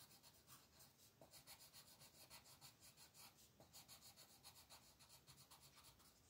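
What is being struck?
Wooden colored pencil on a thin paper sheet.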